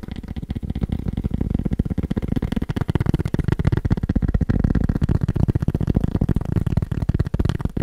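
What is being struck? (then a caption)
Cork surface. Fingers tap quickly on a cork surface. The taps are dull, low, and thumpy, with almost no ring, arriving in a dense, slightly uneven stream of about four per second throughout.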